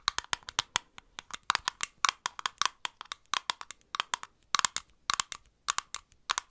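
A small clear glass bottle with a green plastic cap is held in the hand and tapped with long nails tipped with metal paper clips. About 35 quick, bright, dry taps come in uneven bursts, each cutting off almost at once and centred around 1.1 kHz with no low end. The clips add a slight metallic click.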